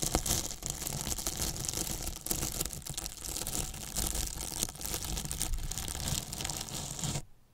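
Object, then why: Polyethylene foam box brushed with a paintbrush. A flat paintbrush brushes and scratches the top edge of a large white polyethylene foam box, which is hollow with a microphone inside. The result is a steady, dense run of rough, crinkly scraping with bright hiss and a deep boomy low end. It continues for about seven seconds before stopping abruptly.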